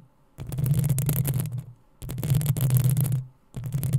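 Long acrylic nails of both hands scratch the hollow metal mesh head of a black desktop USB microphone. This makes three bursts of close scratching, the last cut off at the end, separated by short quiet gaps. Each burst has a heavy low rumble around 120 Hz under bright, crackly scraping.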